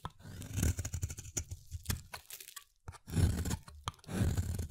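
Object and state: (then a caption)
Bar soap being carved. A palm-sized solid green Dettol bar soap, held in the hand, is carved with a utility-knife blade into crunchy chunks. Dense, low crunching and tearing scrapes come in several bursts separated by short quiet gaps, with brief sharp clicks between them.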